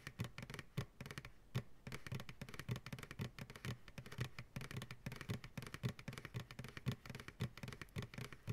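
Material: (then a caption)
Plastic. Fast fingertip and nail tapping on the side walls of an empty white plastic ice cream pail, held upside down by its sides. The hollow pail gives a steady stream of dull, low thumps with short bright clicks from the nails. Each tap dies away almost at once, in a quick, uneven rhythm.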